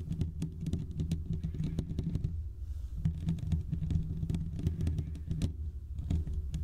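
A large condenser USB microphone's hollow metal mesh grille is scratched on both sides with short fingertip nails. The result is a dense, low, rumbling scratch with rapid clicky ticks that pause briefly near the middle before resuming.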